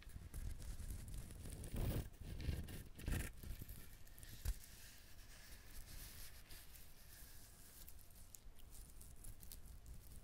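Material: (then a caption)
Coconut husk. Fingernails scratch and tap the shell of a whole brown husked coconut. Quiet, dull low thuds, a few louder than the rest, rise out of a steady dry scratching and crinkling texture. The hollow knocks die away quickly.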